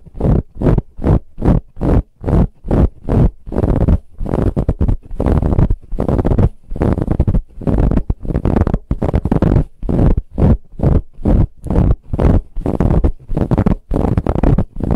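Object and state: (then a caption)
Fabric pillow being scratched. Long nails scratch quickly across a large, soft, brown ribbed fabric pillow. The result is a rapid run of short, rough scratching bursts, heavy in low rumbling tones with little brightness and brief gaps between strokes.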